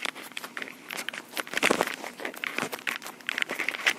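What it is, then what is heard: Plastic portable recorder tapped and scratched with fingernails. Long pink acrylic nails tap and scratch the body of a small black plastic Tascam portable recorder with metal mic capsules. The result is a dense run of quick, dry clicks and crinkly scratches with very short decay and no low end, mostly bright with energy around 2 kHz. Some taps land noticeably louder than others.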